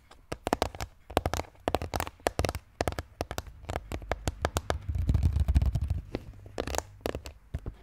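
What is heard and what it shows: Both hands tap quickly with fingertips and nails on the green plastic brain lid of a large, hollow red plastic skull container. The result is a fast stream of dry, clicky taps over a hollow, low thump. A denser, rumbling flurry of taps builds near the middle-end before sharper, separate taps return.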